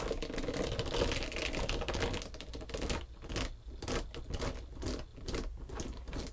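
Long pointed green nails tap and scratch a long, flat, pale pink textured foam back-buffer body sponge. A dense run of rapid, dry, clicky scratching fills the first half, then breaks into irregular bursts of taps with short quiet gaps, over a steady low hum.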